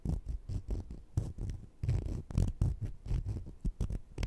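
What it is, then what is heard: Sugar-coated jelly candies scraped together. Small sugar-coated jelly fruit-slice candies, solid and held in the fingertips, are scratched one against the other. The result is a series of soft, low, grainy rubbing strokes with many short bursts close together and no ringing.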